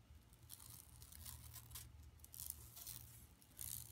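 Long nails scratch across a flat, empty yellow woven plastic mesh tote bag lying on carpet. The result is quiet, dry, bright rasping in short overlapping bursts over a steady low hum.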